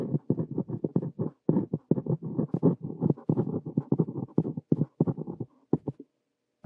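A ballpoint pen tip scratches continuously across a lined paper notebook page while writing one sentence. The result is a quick run of short, dry, low-pitched strokes in bursts, with brief pauses between words. Near the end there is a longer gap before one last stroke.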